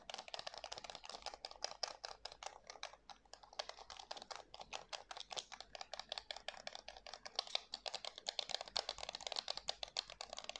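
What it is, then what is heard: Plastic game controller, button clicks. Fingertips rapidly click and tap the buttons and hollow plastic shell of a white plastic PS5 DualSense controller while turning it in the hands. The result is a dense, steady stream of short, dry, bright clicks with almost no low end and no ring after each tap.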